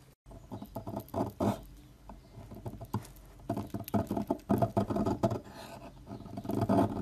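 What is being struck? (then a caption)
Olive oil soap bar. A metal knife scrapes and shaves the edge of a solid, rectangular green Dalan olive oil bar soap standing upright, with long nails steadying the bar. The clip is a run of soft, crumbly scraping strokes that come in uneven bursts, each with a dull, low-to-mid texture and almost no bright edge. The strokes grow louder and denser toward the end.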